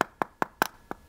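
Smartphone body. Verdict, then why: Solid. A genuine Samsung Galaxy S23 Ultra smartphone body is tapped five times for comparison, giving short, dry, solid-sounding knocks with a midrange tone and almost no ring. It sounds fine and solid, unlike the hollow-sounding fake.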